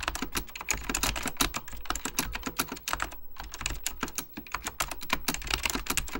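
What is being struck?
Plastic computer keyboard with mechanical key switches.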